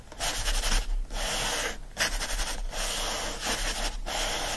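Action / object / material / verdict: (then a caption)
scrape / paper pages of a hardcover book / paper / none. Fingertips and nails scratch and rub the printed paper pages of an open hardcover book lying flat. Six dry, raspy strokes are heard, each a broadband papery scratching with a bright hissy edge and a faint low hum underneath, separated by brief quieter gaps.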